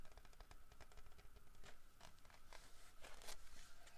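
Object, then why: Carved wooden bear figurine. A large solid carved wooden bear figurine is handled and turned while fingertips and nails scratch its grooved carved back. The result is a quiet run of dry, bright scratching strokes over a low rumbling background. Several brighter, sharper scrapes come near the end.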